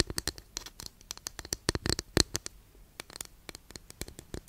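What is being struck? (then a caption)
Wooden incense holder. Long nails scratch along the surface of a long, flat, thin, solid wooden incense holder that sits partly behind the mic. The result is a rapid, uneven series of short, dry scratches with crisp, bright edges, each stopping almost instantly.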